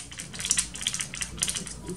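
A 30 ml bottle of Kat Von D Beauty True Portrait liquid foundation, shade deep 090, is shaken well to mix its contents. The result is a quick series of bright, sharp rattling clicks over a faint slosh.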